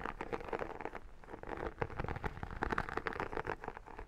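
Long nails and fingertips scratch across the embossed iridescent vinyl cover and spine of a textured photo album held close. The result is a dense, dry run of crackly scratches and small clicks, mostly in the low-mid to mid range, with quick transients that die away almost at once.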